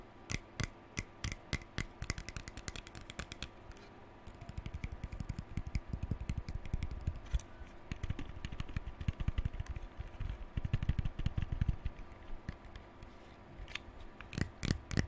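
Fingers rapidly flick the plastic bristles of a lilac plastic hairbrush with a hollow rounded back, and the brush is turned to show its back. The result is a dense stream of quick, dry clicks and ticks with a soft, low, hollow thump beneath them and very short ring. It comes in busier bursts and sparser patches over a faint, steady low hum.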